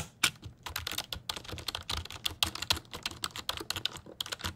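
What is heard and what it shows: A black, hollow-bodied, full-size plastic computer keyboard is held up in front of a microphone while its keys are typed and tapped with fingertips. The result is a quick, irregular stream of short, bright, clicky key taps that stop almost instantly, with very little low-end thump.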